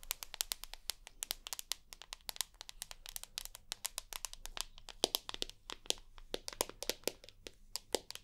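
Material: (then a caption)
Glass. Long nails rapidly tap and scratch the white glass screen of a rose gold iPhone with a home button and aluminium body. The result is a dense stream of quick, dry, bright clicks with soft scraping between them, each tap stopping instantly with no ring, over a faint low hum.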